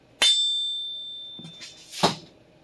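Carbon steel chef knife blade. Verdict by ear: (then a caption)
Good. The blade of a vintage Clyde Cutlery carbon steel chef knife is flicked and rings with a clear, pure high tone near 3.5 kHz that slowly fades over about a second. A softer tap and a second sharper flick follow. The clean ring marks it as good steel.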